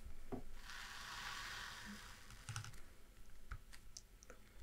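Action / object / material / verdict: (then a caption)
tap / paper spiral-bound map book / paper / none. Long dark-painted nails tap and scratch across the thin paper pages of an open spiral-bound city atlas of Vienna, which has a metal spiral binding and lies flat on a dark cloth-covered table. A soft, airy brushing sweep across the paper gives way to a series of short, dry clicks and taps with bright ticks.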